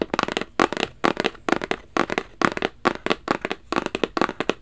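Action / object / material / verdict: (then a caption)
tap / rigid cardboard box / cardboard / none. Fingertips and nails tap a small, hollow black rigid cardboard Versace gift box held upright. Quick, dry, hollow taps fall in irregular clusters, with a papery mid-range knock and a bright clicky edge from the nails. Each tap dies away almost instantly, with short quiet gaps between bursts.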